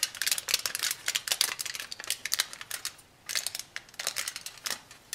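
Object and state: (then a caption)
Aluminum foil sheet. A small torn sheet of thin aluminum foil, held in both hands, is crinkled and scrunched by fingertips and long nails. Dense, bright crackles and sharp crinkles come in bursts, with a brief quiet gap near the middle, and the sound carries almost no low end.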